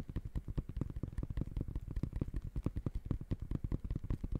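Fingertips rapidly tap the synthetic mesh upper of an empty gray high-top sneaker held sideways. The result is a quick, continuous patter of soft, dull, low thuds with almost no ring.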